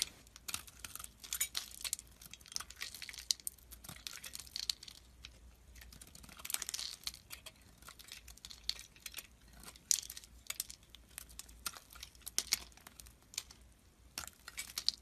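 A metal utility blade carves a solid white bar of soap, and the flakes fall into a pile. The sound is a quiet, bright, dry crackling and scraping made of many short, crisp ticks with almost no low end. The cuts come in irregular bursts throughout.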